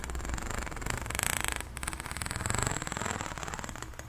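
Long nails run and scratch along the ridges of an extended pink, ribbed, hollow plastic corrugated pop tube. The result is a rapid train of dry clicks that swells twice into a bright rasp over a low rumble.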